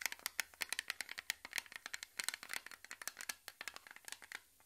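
A small, round, blue Nivea-style metal cream tin, closed and held in both hands, is scratched and tapped on its lid and rim by fingertips and short nails. About thirty quick, bright, dry clicks and scrapes follow one another in an uneven rhythm, each stopping at once with no ring.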